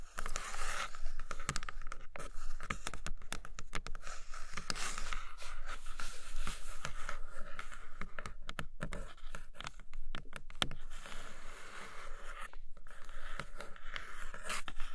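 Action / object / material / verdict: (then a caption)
scrape / cardboard box tray / cardboard / none. Long nails scratch the inner floor of an empty brown kraft cardboard box tray with quick back-and-forth strokes. The result is a steady, dry, rasping scratch with a papery, crinkly texture, broken by a few brief pauses.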